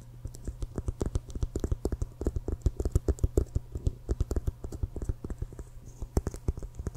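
Fingertips and nails tap rapidly on the CFL logo side of an inflated, hollow leather American football held horizontally. Dozens of quick, dry taps with very short decay give a soft, low, hollow thump over a steady low hum, with faint bright clicks from the nails.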